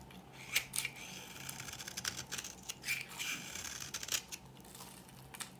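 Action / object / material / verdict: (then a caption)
scrape / bar of soap cut with a metal blade / soap / none. A metal blade cuts flaky shavings off the edge of a dry, old pink bar of solid soap. It makes a series of quick, crisp scraping and crackling bursts that are bright and high, with almost no low end. Each burst stops sharply, and there is a faint steady hiss between them.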